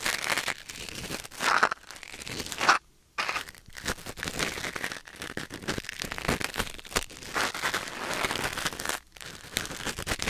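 A thin wooden or bamboo ear pick, held in the fingers, scratches and scrapes inside the ear canal of a white silicone ear mounted on a black binaural microphone. The result is close, dense, crinkly rustling and crackling with a bright edge, broken by brief silent pauses around 3 and 9 seconds.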